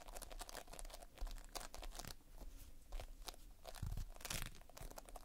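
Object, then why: Foam beads in sticky binder. Fingertips press, pinch and scratch a large mass of multicolored Playfoam, foam beads held in a sticky binder, up close. Dense, dry crackling and crunching comes in quick bursts with sticky tearing sounds. A soft low rumble runs underneath throughout.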